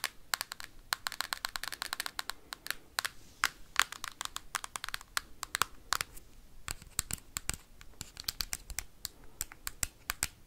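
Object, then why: Plastic handheld game console. Metal paperclips worn on the fingertips scratch and tap rapidly across the hard plastic shell of a handheld Nintendo Switch game console. Sharp, bright clicks come in fast, uneven bursts over faint scratching, each tap dying away almost instantly.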